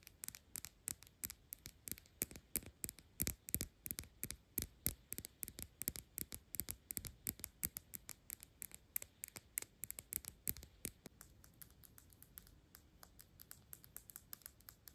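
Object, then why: Glass perfume bottle. A square Byredo glass perfume bottle with a black cap, partly full, is held in the hands and tapped quickly with long pink nails on the glass and the label. Dozens of sharp, bright clicks come in an uneven, rapid patter over a faint low hum, growing softer and sparser near the end.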